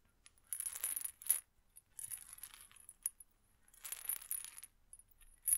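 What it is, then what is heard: Glass pill bottle with small hard contents. A small amber glass medicine bottle with a white plastic cap and white label is held in one hand and shaken in several short bursts separated by pauses. It gives a quiet, bright, dry rattle with a thin high ringing edge and almost no low end, each burst stopping abruptly.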